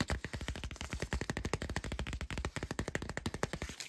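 A 12-inch cardboard vinyl record jacket with glossy printed artwork of a face in glasses is held upright in one hand and tapped rapidly with the fingertips of the other on its flat, thin, hollow sleeve. About 37 quick, dull taps follow one another over roughly four seconds, each a short, bass-heavy thump that dies away almost at once.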